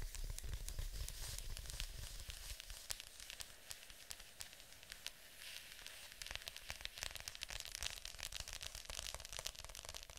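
Long nails tap and scratch the glossy top of a hollow plastic Fantasia VHS clamshell case lying flat. Dense, irregular, bright clicks and crackly scraping come in quick succession over a low rumble, easing slightly in the middle before picking up again.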